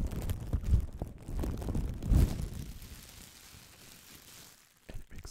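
A crumpled piece of light, hollow-celled clear plastic bubble wrap is squeezed and crinkled with fingertips close to the microphone. It makes a dense, low-heavy rustling crackle that swells in two louder bursts, fades to a soft hiss, then ends with a few sharp crackles.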